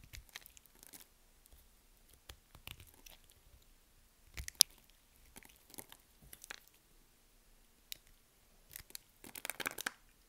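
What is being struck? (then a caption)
Bar of soap. A metal blade shaves slabs off the scored surface of a solid white soap bar held in the hand, cutting and scraping the soap. Quiet, bright, crisp crunching and scraping bursts come in short clusters separated by pauses, with a sharper crack near the middle and a denser run of scrapes near the end.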